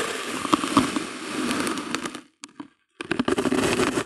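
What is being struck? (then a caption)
Slab of kinetic sand cut with a plastic bottle rim. A flat, solid slab of pink kinetic sand resting on white paper is repeatedly cut with the rim of a broken clear plastic bottle held in hand. A dense, gritty crackling crunch runs continuously, drops to near silence for about half a second with a few soft cuts, then resumes just as busily.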